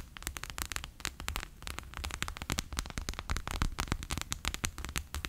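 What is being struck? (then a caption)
PVC pouch filled with water beads. A bear-shaped clear PVC pouch full of water beads lies flat on a table and is tapped with fingertips and long nails. The result is a rapid, uneven series of short, crisp clicks that reach into the high, bright range, each dying almost instantly over a low, steady rumble.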